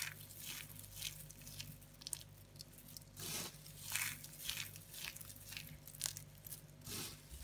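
Dry, multicoloured soap shavings and flakes on a woven placemat are scooped, squeezed, crushed and rubbed between hands with long painted nails. The result is a steady run of bright, dry crunches and crackles with quick decay over a faint low hum.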